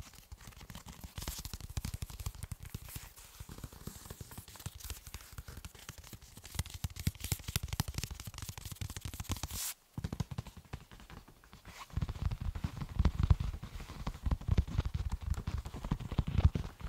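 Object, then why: Fabric-covered soft body armor panel. A large, flat black soft body armor panel with a fabric cover and a shield logo is held close to the mic while fingertips tap and scratch its fabric surface and edge. The result is a dense, irregular stream of soft, muffled taps and scratchy rustling, mostly low and thuddy. A brief silent gap comes near the 10-second mark, and the taps grow heavier after about 12 seconds.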